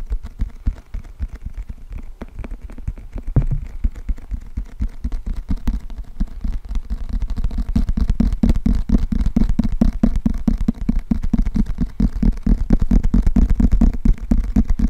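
Fingertips and nails tap and scratch the glossy printed cardboard cover and spine of a closed, solid, thick paperback book held in both hands in front of the microphone. The result is a rapid, irregular stream of soft, dull, low-heavy taps and rustling scratches that grows denser and louder after the first half, with each tap dying away almost instantly.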